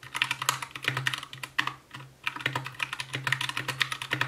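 An Anne Pro 2 60% mechanical keyboard with white plastic keycaps, a translucent case, RGB backlight and Gateron brown switches is typed on continuously with the fingertips of both hands. Rapid, short, bright plastic clacks with almost no ring carry a tone around 1.9 kHz over a faint steady low hum. The typing breaks briefly near the two-second mark before resuming at full pace.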